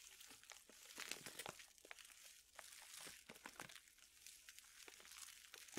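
A printed plastic pouch full of dried chili peppers is crinkled and rubbed with fingertips. Quiet, bright, dense crinkling and crackling comes in quick irregular bursts with almost no low end. Each crackle dies away instantly.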